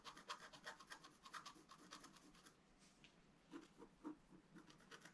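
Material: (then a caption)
Coated paper. A wooden stylus scratches lines into a flat, black-coated scratch art paper card, drawing the basin of a fountain. Quick, dry, rasping strokes with a bright, high hiss repeat steadily at a low level. After a short lull near the middle, a few more scratches follow, some with a slightly fuller, lower scrape.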